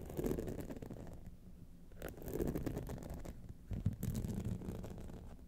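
Long nails scratch across the top of the face and the sides of a gold rhinestone-studded clutch wallet. The result is a quiet, dense run of scratchy, rasping strokes, mostly low and soft, with brief louder bursts near the middle and end.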